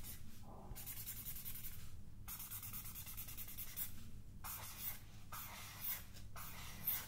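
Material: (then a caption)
Paper. Long dark-painted nails and fingertips scratch and rub across a page of a large spiral paper sketchpad, a solid stack of sheets held upright in one hand. Bright, hissy scraping strokes come in repeated passes separated by short pauses, over a low, steady background hum.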